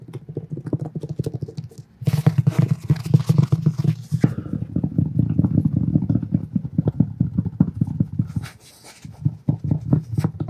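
Fingertips and nails tap and scratch the textured cover of a thick, solid, black cloth-covered hardcover book held in the hands. Rapid, dull, low-pitched taps patter steadily throughout. Louder, brighter scratching rises from about 2 to 4 seconds before the soft tapping resumes.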